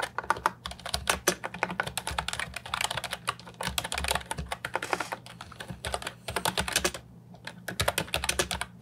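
Fingertips type continuously on the round keycaps of an Ajazz 308I, a brown and white plastic retro mechanical keyboard with a hollow body, resting on a wooden desk. Rapid, short, bright plastic clicks come in bursts, with a brief lull around the seventh second, over a faint steady low hum.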